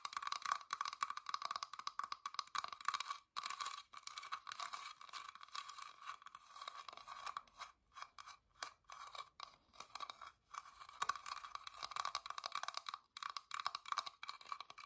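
Long dark nails scratch and tap the carved openwork floral lid of a small, hollow, whitewashed wooden box held in both hands. The result is a dense, crunchy scratching centered around 1.1 kHz with bright, brittle edges and quick dry taps that barely ring. It is broken by brief silent pauses.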